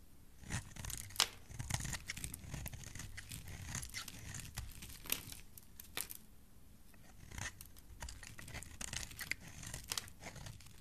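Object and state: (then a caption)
Bar soap scraped with a blade. A metal blade scrapes a solid oval pink bar of soap held in the hand. Repeated crisp, dry shaving strokes give bright crackly scrapes over a soft low rumble, with brief quieter pauses between passes.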